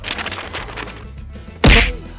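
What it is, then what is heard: Durian knocked to listen to ripeness. A Monthong durian in an orchard is knocked to judge its ripeness. Faint, uneven tapping and rustling lead up to one loud, deep, dull thunk with a bright edge that dies away quickly. No ripeness result is given.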